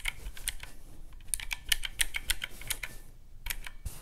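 Fingertips rapidly press the round black typewriter-style keys of a handheld teal plastic mechanical-key calculator lying on a white cloth. The result is a quick, uneven stream of short, bright clicks like typing, each stopping almost at once, over a faint low rumble.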